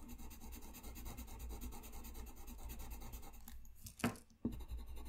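A colored pencil scratches and rubs steadily across a flat white paper sheet lying on a desk while coloring, a soft, low, continuous scratching with faint rhythmic strokes. Near the end the scratching drops away briefly, broken by two sharp, louder bursts, before the quiet stroking resumes.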